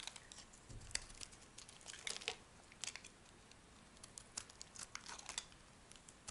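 A metal blade carves a solid tan rectangular soap bar into crumbly dry flakes. It gives a quiet run of crisp, bright scraping and crackling ticks that stop short with no ring.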